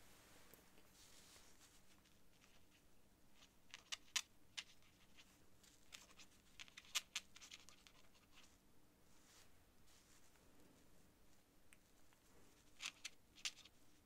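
A quill or dip-pen nib scratches across a thin sheet of cream writing paper lying flat on a desk as someone writes. The quiet, bright scratching comes in short, irregular strokes, with a few sharper clicks and ticks standing out. A faint steady hum sits underneath.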